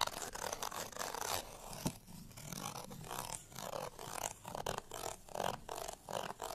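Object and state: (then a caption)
Paper cardstock tag scratched. Fingernails scratch across the printed surface of a small, thin, flat cardstock bottle tag held in the hand. Quick, dry, bright rasping strokes come in a steady run of short bursts with brief pauses. Each scrape stops dead with no ring.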